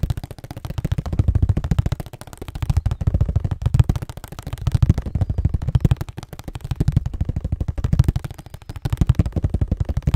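A hollow cardboard Scotties tissue box, likely full of tissues, is held in both hands in front of the mic and tapped and scratched with fingertips and nails. Rapid, dense taps come in rising and falling waves, each a short, dull, low thump with almost no ring and no bright edge.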